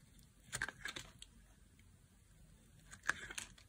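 A solid pink oval bar of dry soap, held in the hand, is carved into thin slices with a knife blade. Short, crisp, bright scraping and cutting clicks come in two quick clusters over quiet background hiss, with each cut dying away almost at once.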